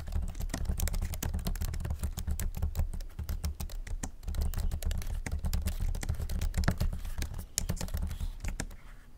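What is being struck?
Laptop keyboard with low-profile plastic keys in an aluminum body.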